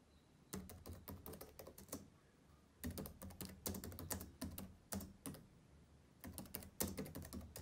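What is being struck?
Plastic laptop keyboard.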